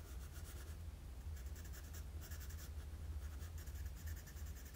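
A wooden graphite pencil makes sketching strokes across a flat sheet of drawing paper. Quiet, dry scratching comes in repeated bursts of bright, papery rasp, over a steady low hum.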